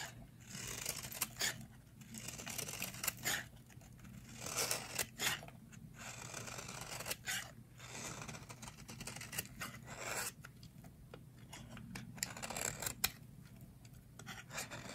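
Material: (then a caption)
Soap. A metal blade scrapes crumbly shavings and cubes off a solid yellow rectangular bar of dry soap held in the hands. Repeated dry, bright, crunchy scraping strokes come in bursts with brief pauses, over a steady low hum.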